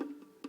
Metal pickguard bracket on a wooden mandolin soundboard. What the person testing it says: tap on this we can get that to move and you can hear it actually making contact